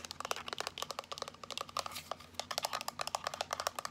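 Long nails rapidly tap and scratch a small, solid, hand-sized teal power bank made of rounded plastic, held up close. Around 27 quick, dry, clicky taps fall in an uneven rhythm over four seconds, each bright and short with almost no ring, with a faint steady low hum underneath.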